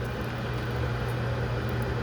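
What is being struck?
Nothing is struck.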